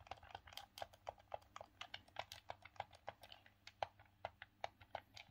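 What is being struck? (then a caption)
Hard plastic hand-held game controller. Thumbs click the D-pad and face buttons of a grey, hollow, hard plastic Sega Saturn game controller held in both hands. A quiet, rapid, uneven string of short, dry plastic clicks follows, each with a hollow midrange knock around 800 Hz and a faint bright edge. The clicks stop almost instantly with no ring.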